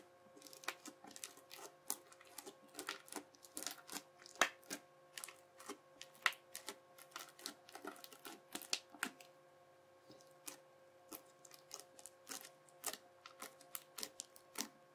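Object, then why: Slime packed with plastic beads, worked with a plastic knife. The edge of a yellow plastic knife presses, slices and scrapes across a flat-spread teal slime packed with clear beads. It makes dense, irregular bursts of sharp, bright crunching and popping clicks, with a brief lull near the middle. A faint steady hum sits underneath.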